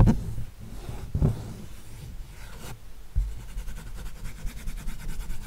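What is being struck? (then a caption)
Acrylic-painted stretched canvas. Fingernails scratch and tap across the painted surface of an acrylic sunflower canvas. Three dull, low taps stand out over a steady, soft rasping scrape. The scratching turns into a quick, rhythmic brushing toward the end.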